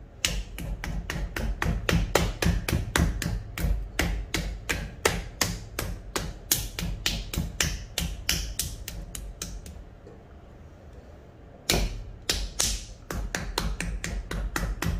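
A large, solid block of soft wet stoneware clay, about 7 kg, sits centred on a pottery wheel head while open palms and fingers pat and slap its sides and top, compacting it into a rough cylinder. About forty quick, damp slaps land in an uneven rhythm, with a short pause near the ten-second mark before they resume. Beneath the slaps runs a steady low hum.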